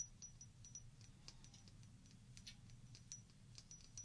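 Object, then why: Small glass shot glass partly filled with water. A small hollow glass shot glass, partly filled with water and held in both hands, is tapped rapidly with long painted fingernails. The result is a quick patter of light, bright clicks, each with a short, high glassy ring that fades almost at once, over a soft, steady low rumble.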